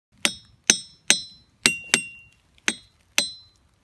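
A ringing rock boulder at Ringing Rocks Park is struck seven times. Each strike gives a bright, metallic, high-pitched clink that rings briefly and fades before the next.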